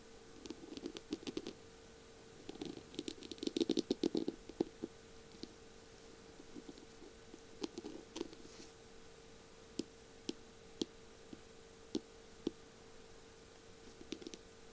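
Long purple nails tap and scratch along the beaded, mirror-tile decorated barrel of a feather pen with a metal tip. Quick clicky taps and short scratchy rattles come in dense bursts early on, then thin out to single sharp taps over a faint steady hum.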